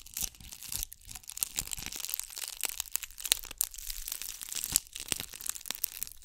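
A hand-sized, solid-looking ball covered in bugle beads is scratched and rubbed with long nails close to the mic. The result is a dense, bright, crackling crinkle of rapid tiny clicks and scrapes, with sharp peaks throughout and almost no low end.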